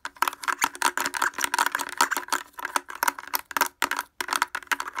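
Fingers fitted with wooden clothespins rapidly tap the front of a blue plastic portable speaker with a hollow housing and grille. The result is a fast, dense stream of dry, clicky, hollow knocks, each centred in the midrange around 950 Hz with a bright edge and almost no low end. Every tap dies away almost instantly.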